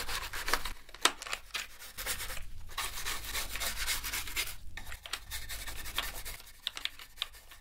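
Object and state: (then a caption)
Plastic keyboard being scrubbed. A toothbrush scrubs across the plastic keys of a dirty black plastic gaming keyboard during a deep clean. Dry, bristly rubbing strokes come in uneven bursts of bright hiss with a low rumble beneath. A few sharp plastic clicks and ticks pop out near the start and end.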